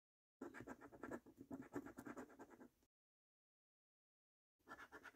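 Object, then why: Latex-coated paper scratch card scraped with a coin. A coin scratches the latex-coated panels of a thin, flat paper £15 "3x £1 Million Snack Stack" National Lottery scratch card, making quick, rasping strokes with a mid-range scratchy texture. The scratching runs for about two and a half seconds, stops for a silent pause, then starts again near the end.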